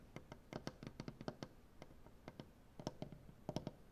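Both hands tap a large solid maple butcher-block tabletop with the tips of painted nails, producing about nineteen quick, dry knocks in uneven bursts. Each tap is short and woody, with a low, thuddy body and a faint bright click, dying away almost at once over a quiet hiss.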